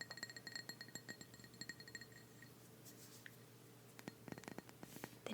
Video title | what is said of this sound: [ASMR] Show & Tell - Fall Candles - Fast Tapping + Soft Speaking | if you take the lid off you have that high pitched glass noise the deeper glass noise at the bottom